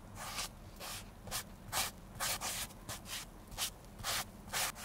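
A grey sponge rubs cream over the toe and upper of a hollow, empty black leather oxford shoe held in bare hands. About nine quick, bright, breathy swishes repeat at an uneven pace over a faint low background hum.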